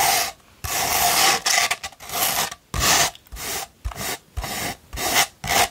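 A sheet of sandpaper rolled into a tube is scratched with long pointed nails. The result is a series of dry, gritty scraping strokes with a bright, hissy texture and a slight mid-range tone, separated by short pauses.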